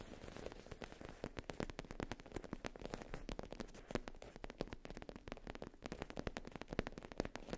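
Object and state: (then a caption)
Faux leather pouch. Long pink-tipped nails tap and scratch the surface of a black faux leather zip pouch with an embossed logo, lying soft and flat on a fluffy rug. Quiet, rapid, dry clicks and crackly scratching run continuously throughout, each tap short with no ring.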